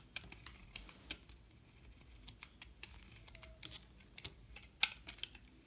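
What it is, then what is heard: Bar of soap being cut. A metal utility knife blade shaves and cuts thin curls off a solid yellow-and-white bar of soap held in hand. About fifteen quiet, crisp, bright scraping clicks come at an irregular pace, each dying away almost instantly over a soft low background hiss.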